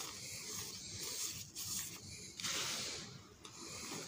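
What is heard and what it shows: Bare hands rub, press and knead into a loose pile of dry pink cement powder with fingertips and palms, raising dust. A continuous soft, bright rubbing hiss swells and fades in waves, with brief gaps where the hands lift and resume.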